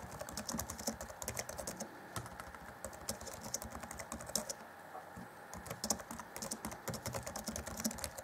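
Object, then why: Plastic laptop keyboard keys. Fingertips of both hands type rapidly on the black plastic chiclet keys of a 2014 Acer Chromebook C20's grey laptop keyboard deck. The result is a dense run of quick, bright clicky taps with short decay, steady throughout.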